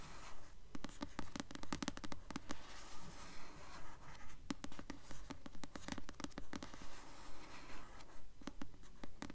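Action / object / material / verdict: scrape / paperback book with glossy paper cover / paper / none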